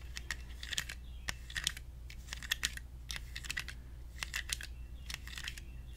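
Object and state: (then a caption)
Plastic toy pot tapped with fingernails. A small, hollow plastic toy cactus in an orange plastic pot is held in both hands and tapped on the pot with fingernails. The quick, clicky taps sound much like typing on a keyboard, with bright, sharp attacks over a steady low hum.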